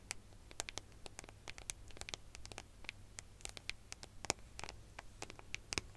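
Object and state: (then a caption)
Metal smartphone back tapped with fingernails. Long fingernails tap and scratch the gold metallic back of a smartphone in a quick, uneven series of sharp clicks and brief scrapes. Each bright tick dies away almost instantly over a quiet, steady low hum.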